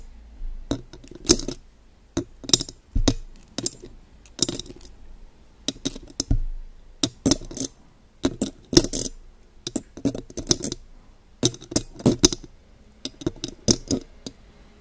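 Long gold pointed claw nail extensions tap and rake across the silver metal mesh grille of a condenser microphone. Bursts of crisp, bright metallic clicks and scratchy rasps come in quick clusters with short pauses between them. Each tap dies away almost instantly with very little ring.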